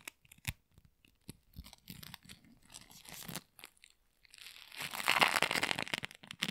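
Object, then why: Sticky polystyrene bead floam. A flattened sheet of sticky pink polystyrene bead floam is stretched, torn and squeezed by gloved fingers. Scattered bright crackles and sticky pops come first, then the tearing builds into a dense, louder crunching crackle that peaks near the end.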